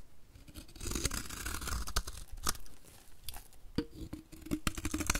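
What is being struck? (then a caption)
Bar of soap scraped with a blade. A utility knife blade scrapes flaky shavings off a solid, rectangular, white embossed bar of dry soap held in the hand. Dry, crunchy scraping and crackling fill the clip, broken by sharp, bright cutting snaps and carried over a low, steady rumble.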